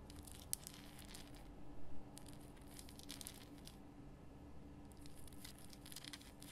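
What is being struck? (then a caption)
Rock salt lamp. Long fingernails scratch quickly over the rough crystal surface of a large pink Himalayan rock salt lamp. Quiet, bright, gritty scratching comes in bursts, with a brief louder swell near the middle. A steady low hum runs underneath throughout.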